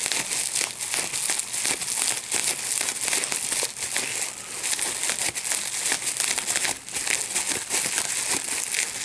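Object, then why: Plastic bubble wrap sheet. A large sheet of clear plastic bubble wrap with small air bubbles is held in both hands while the bubbles are popped by pinching them with the fingertips and thumbs. Sharp, bright pops come in quick succession over a steady crinkling of the plastic, with almost no low end.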